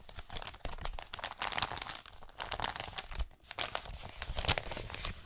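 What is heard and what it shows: An Amazon kraft-paper padded mailer envelope is held in both hands and crumpled and crinkled with the fingers. It makes dense, bright crackling and rustling in uneven bursts, with a brief quiet dip near the middle before the crinkling picks up again.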